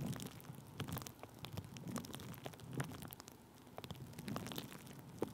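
Thin clear plastic bubble wrap stretched over a microphone is tapped and rubbed with a wooden stick, producing a quiet, steady stream of dry crackles, soft taps and rustling. Each tap has a dull low thump with a brief bright crinkle that dies away almost instantly.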